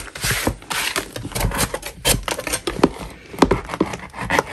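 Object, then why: Chalk block scraped with a metal putty knife. A gloved hand scrapes the edge and surface of a large solid chalk block with a metal putty knife. Repeated short, dry, gritty scraping strokes produce bright, hissy rasps with quick decays, and a few strokes carry a slight tonal squeak.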